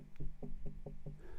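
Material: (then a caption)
Sandstone. Five dull, low knocks on solid sandstone rock, each with a short thud and almost no ring. Compared with a detached ironstone plate, the rock sounds solid and attached rather than hollow.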